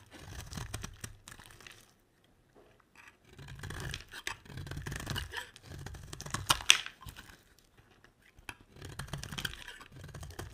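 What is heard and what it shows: A solid, hand-sized white bar of soap is scraped and carved with a metal utility blade, and flakes pile up beside it. Dry, bright scraping and crackling bursts come in several strokes separated by short silences, with a sharper crunch near the middle.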